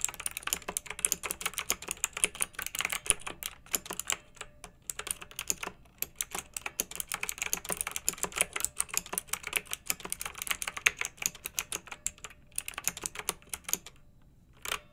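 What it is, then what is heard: Mechanical keyboard being typed on. Long-nailed fingers type on a pink backlit, typewriter-style plastic mechanical keyboard with round metal-rimmed keycaps. Rapid, bright, crisp clicks and clacks run steadily with very short decay and brief pauses near 5 and 14 seconds.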